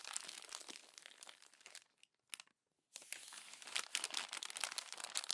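A hand crumples the pages of a glossy paper magazine and presses them down with the palm, giving dense, bright crinkling and crunching with no low end. The crackle fades to near silence for about a second around the middle, with one brief crinkle, then resumes as loud as before.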